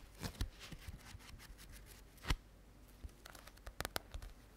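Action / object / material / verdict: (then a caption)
tap / paperback book with glossy cover / paper / none. A small solid paperback book with a glossy red and white cover is held in both hands close to the mic, and long nails tap and scratch across the cover. Soft, dull taps land at irregular moments among quiet, bright scratching, with a stronger tap near the middle and a quick cluster toward the end.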